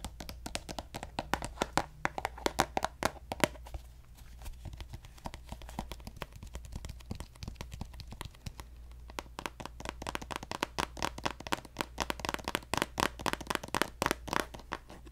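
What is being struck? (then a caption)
Plastic cosmetic squeeze tube. A hand-sized, hollow pink plastic lotion squeeze tube with a gold cap is tapped rapidly with fingertips and nails. The taps are quick, dry and clicky, with very short ring and a bright edge, over a steady low hum. The tapping runs softer and sparser through the middle, then becomes denser and louder toward the end.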